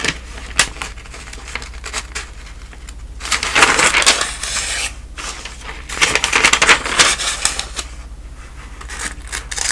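A hand with long nails riffles and turns the edges of the thin newsprint pages of a thick paper telephone directory. The result is crisp, bright papery rustling and ticking, with two louder, fuller swells of fluttering pages in the middle, over a faint steady low hum.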